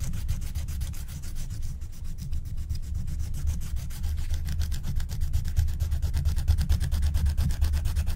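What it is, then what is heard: Scratch-art card being scratched. A wooden stylus scratches the black wax coating near the top of a flat, thin scratch-art card in repeated short strokes while a long-nailed hand holds the sheet down. The strokes form a rapid, steady rasping texture over a low rumble, growing slightly louder toward the end.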